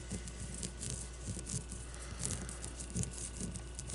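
Long blue-painted fingernails tap and scratch a solid leather baseball as it rests on and is lifted from a table. The result is a quiet, steady stream of soft scratching and light patter-like taps with bright hiss on top, over a constant low hum.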